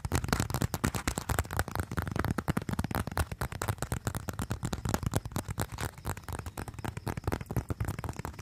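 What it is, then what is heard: Leather wallet. A small, flat, folded brown leather wallet, possibly a leather phone case, looks empty and slim and is held in both hands close to the microphone while fingertips and nails tap and scratch its surface. A rapid, dense stream of short, dry taps and scratches is heard, with a deep, muffled low end and only faint brightness, each hit dying away almost instantly.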